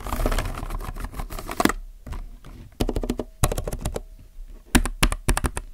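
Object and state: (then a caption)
Plastic mechanical keyboard being typed on. Fingertips type on a compact mechanical keyboard with plastic keycaps. The result is fast, uneven bursts of sharp, dry key clicks with short pauses between them. The clicks have a low thock beneath a brief bright tick.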